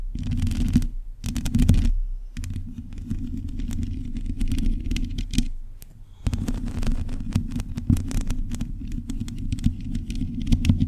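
Long acrylic nails scratch across a black metal mesh microphone grille. The sound is a dense, low, rumbling scrape with bright crackly scratch bursts on top, broken by brief quiet gaps near one, two and six seconds before resuming.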